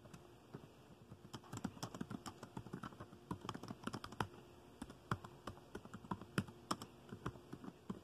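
Fingertips of both hands type on the dark plastic keys of a laptop keyboard. A quick, uneven stream of short, dry clicks and soft thuds fades almost instantly, with some taps landing louder than the rest. A faint steady low tone sits underneath.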